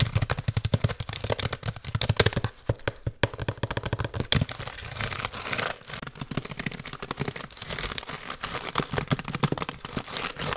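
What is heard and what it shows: Fingertips and nails rapidly tap and type on the keys and metal casing of an open silver aluminium laptop held up close to the mic. The result is a fast, dense stream of short, dry clicks and taps with bright high-end crackle and a low thumpy body, briefly thinning out near the three-second mark before continuing just as busily.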